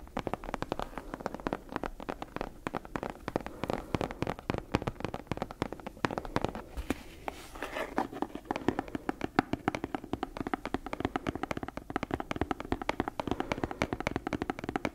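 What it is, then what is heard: Leather-bound book. Long nails tap quickly on the brown leather cover and stitched spine of a solid leather-bound book held in the hands. The result is a dense run of short, dry clicks with a soft low body and almost no ring. The tapping briefly thins out around the middle before picking back up.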